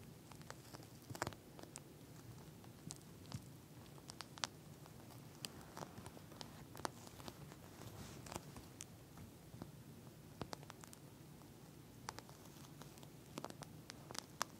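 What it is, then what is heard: Plastic gel bead eye mask. Long nails scratch and tap the beaded surface of a pink plastic gel bead eye mask lying flat. Quiet, crisp clicks and brief bright ticks scatter irregularly over a soft, low, steady rustle, each one dying away almost instantly.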